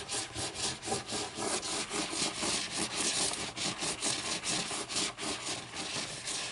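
Long painted nails tap and scratch the front cover of a closed, thick hardcover book with a lime-green board cover lying flat on a wooden table. A steady run of bright, dry scratching strokes repeats about twice a second, with soft taps mixed in and little low end.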